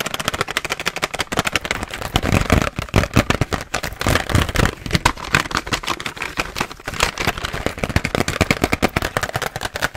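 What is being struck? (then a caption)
Plastic blister pack with razors inside. Long nails rapidly and aggressively tap and scratch a pink BIC razor blister package, a hollow plastic shell with razors inside. The result is a dense, nonstop burst of sharp clicking and crackling, with low hollow thuds under bright scratchy noise. Each hit dies away almost instantly.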